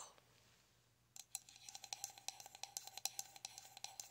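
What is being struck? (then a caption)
Frosted glass candle jar filled with wax. A medium pink frosted glass candle jar, filled with wax with its lid on, is held in one hand while long acrylic nails tap along its side. After about a second of faint hiss, a quick, irregular series of sharp, bright clicking taps begins. Each tap dies away almost instantly with a faint glassy ping.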